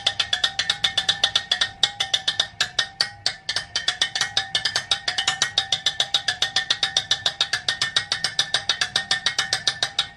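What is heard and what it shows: A steady, rapid run of light metallic taps sounds as the metal spokes on one side of a KKE supermoto wheel for a DRZ400S are tapped one after another. Each tap is short and bright, ringing at about 3.5 kHz with fainter tones near 750 Hz and 1.8 kHz. The spokes all sound alike, showing none is loose and the wheel is tight.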